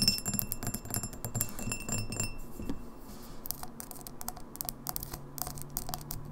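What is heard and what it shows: Long nails tap quickly on the sides of an empty, hollow, clear etched Red Lobster pint glass, giving fast, irregular clicks with a high, bright ring. Then the glass is tilted and tapped on its base, and the taps turn drier and sharper over a low hum.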